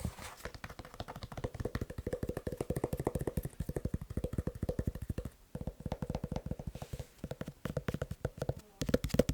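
Fast tapping on a leather shoe produces a dense run of short, dry, low taps, each carrying a faint hollow tone near 500 Hz. The taps come in quick bursts with brief pauses partway through, and there is no talking.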